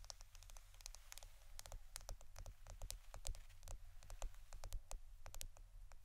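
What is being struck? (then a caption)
Roll of plastic adhesive tape. A roll of plastic adhesive tape is tapped and scratched with quick, dry, bright clicks and light scratches that stop almost instantly, repeating in an uneven, rapid pattern. A steady low hum runs quietly underneath throughout.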